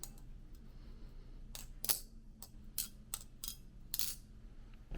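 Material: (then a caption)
Metal. The production version of the Kuno metal balisong knife is flipped, giving a series of sharp, bright metallic clacks over a low steady background hum. Each clack dies away almost at once, without the ringing of the original Kuno, possibly because of the changed handles or the anodization.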